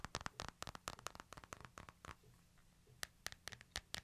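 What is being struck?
Smartphone with glass screen and hard frame.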